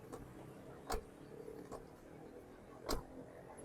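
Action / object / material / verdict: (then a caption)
strike / steel car door / steel / dull. A steel Honda BR-V car door fitted with sound deadening is pushed shut, giving four short, dull low thuds, the two strongest near 0.9 and 2.9 seconds, each dying away almost at once. The deadened door closes with a solid sound that is no longer tinny like a can.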